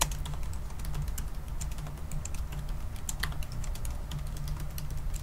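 Fingertips type fast on a silver aluminium laptop's black plastic keys, producing a steady stream of short, crisp, bright clicks and taps. A constant low hum sits underneath the rapid keystrokes throughout.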